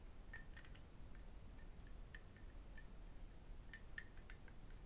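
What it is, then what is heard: Cut crystal glass tumbler. A small, hollow cut-crystal drinking glass tumbler that appears empty is held in both hands and tapped with fingertips and metal rings. It gives quiet, bright, short clinks with a pitch near 1.8 kHz and higher overtones, scattered irregularly over the clip. Each clink dies away almost at once over a steady low background rumble.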